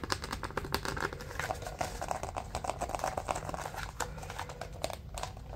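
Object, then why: Pleated paper bundle. A bundle of white pleated paper is compressed into a narrow stack while fingers and nails scratch and squeeze its folds. The result is a steady stream of quick, dry crinkling and scratching ticks with bright edges, each dying away almost instantly with no ring.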